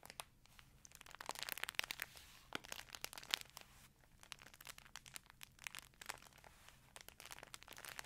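A green printed plastic snack chip bag is held near a fluffy microphone while hands crinkle and squeeze it and long nails scratch its surface. The sound is a quiet, bright, dense crackle of sharp crinkles and scratchy ticks with almost no low end, swelling and easing over the clip.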